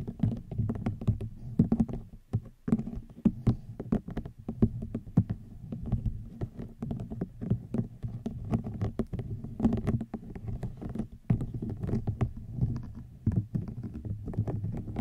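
A small, hollow, cylindrical woven rattan basket is tapped and scratched along its weave with long nails. The sound is a dense, uneven stream of quick, dry, muffled taps mixed with soft scratching. It is mostly low and hollow in tone, and each tap dies away almost at once.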